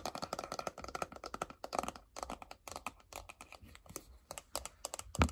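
Long acrylic nails tap rapidly on the front and sides of a small, closed, hollow white glossy paperboard iPhone box. The taps come as a quick, crisp, clicky patter with short hollow knocks that die away almost at once. The run ends with one louder, thumpier tap.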